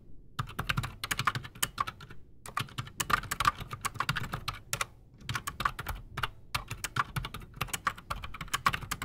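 A full-size black Redragon mechanical keyboard with PBT plastic keycaps and silent switches sits solid on a desk while both hands type fast with fingertips. Quick, dense clacks come in bursts with short pauses between them. Each keystroke is a short, muted click with a bright top and a soft low thump, dying away almost at once.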